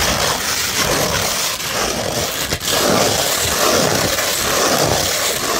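A beige 100-grit sandpaper sheet, held in one hand, is rubbed and scratched with the fingertips and nails of the other hand. The sound is a steady, gritty, hissing scrape, bright and dense in the highs. Two brief dips break the otherwise continuous texture.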